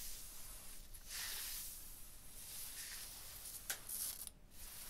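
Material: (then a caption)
Stone. Fingers and a hand rub and slide across a rough, striated textured stone block wall. The result is a quiet, airy scraping hiss with bright high texture that swells and fades in strokes, broken by a brief sharp tick near the end.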